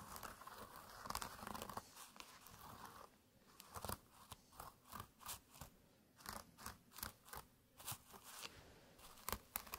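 Fingertips scratch along the woven surface of a small, flat jute burlap pouch with a red drawstring as it rests on a mat, an identical pouch lying still beside it. A few seconds of continuous dry, rasping scratching give way to a run of short, separate scratchy strokes, each bright and crisp with almost no ring.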